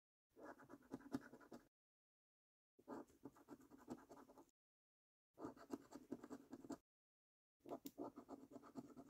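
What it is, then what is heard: Scratch card being scratched. A coin edge scratches the latex number panels of a £25 "5x £1 Million Prize Portal" National Lottery paper scratch card with a latex coating, resting on a wooden table. Four bursts of quiet, gritty rasping strokes are separated by short silences, with a low-mid body and a faint bright hiss.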